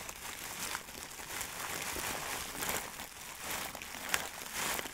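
A medium clear plastic bag filled with small dried granular buds, possibly lavender or herbs, is held close to the mic and squeezed and crinkled with the fingertips. A steady, bright crinkling and rustling runs throughout, with the grainy crunch of the contents shifting inside and a sharp crackle near the end.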